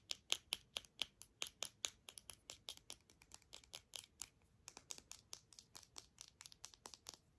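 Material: Hard plastic.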